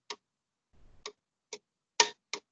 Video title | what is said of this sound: Evening EMT Course 614959 - 7-27-20 Chest Trauma | you hear the difference down below where there's liquid